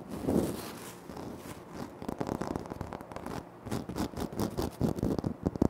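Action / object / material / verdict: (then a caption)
scrape / granite floor tile / granite / none. Fingertips and short nails scratch and tap across the surface of a large, flat, solid speckled granite-like floor tile. A soft, dry scraping swell gives way to a busy run of quick, close-miked taps and scratches. The sound is mostly low and muffled, with each hit dying away almost instantly.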